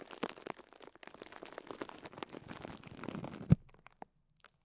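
Fingertips with short nails press and squeeze the top of a small pink and yellow foam sponge block tightly wrapped in clear plastic cling film, resting on a cloth. The wrap gives a soft, quiet stream of crinkling and crackling that builds slightly, peaks in a short, low, dull squeeze pop near the end, then trails off into a few faint ticks.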